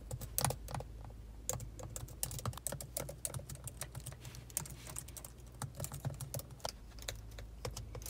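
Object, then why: Plastic laptop keyboard keys. Both hands with long, pointed acrylic nails type steadily on the black plastic keys of a silver laptop, tapping with fingertips and nail tips. The result is a quick, uneven stream of short, bright clicks over a steady low hum, with an echo effect added to the audio.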